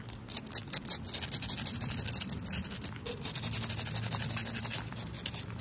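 Long acrylic nails scratch and rub a large, flat, solid, dark asphalt road or driveway surface that is wet, outdoors in the rain. Rapid, repeated scratchy strokes make a bright, gritty rasp over a steady low rumble and hiss.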